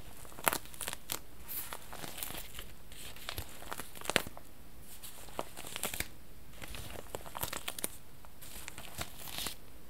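Fingers crinkle and rub the thin plastic wrap of a long, clear plastic tube package with a red end as it lies on a lap. Sharp, bright crinkles and crackles come in irregular bursts over a soft, steady rustle. Each snap is brief and dies away almost at once.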